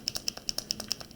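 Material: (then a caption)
Plastic. A paint marker is shaken up and down, and the mixing ball inside rattles against the barrel to stir the paint. About eleven sharp, bright clicks fall in quick succession, each one dry and high-pitched with almost no ring.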